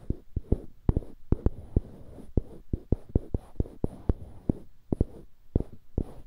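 Fingertips rub and scratch two identical small solid light-wood cubes fixed to the ends of polished dark-wood cylindrical handles, one held in each hand beside a binaural microphone. About twenty short, dull wooden taps and scratches land at an irregular pace over a soft rustle, each one low-heavy and dying out at once with no ring.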